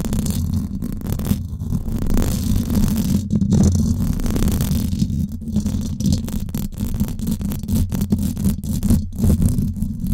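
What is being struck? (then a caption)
Woven-wire metal microphone grille. Long acrylic nails scratch the hollow, silver woven-wire dome grille of a Blue Yeti microphone. The result is a continuous, dense scratching that sounds mostly as a deep, muffled rumble, with frequent brief crackles and very little bright content.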